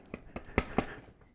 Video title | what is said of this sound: 1/4 Thor WIP#2 (pinning and epoxying legs) | sounds like it's Hollow but it's not it's it's solid